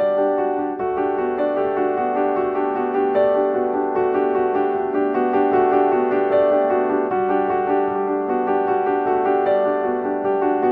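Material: Nothing is struck.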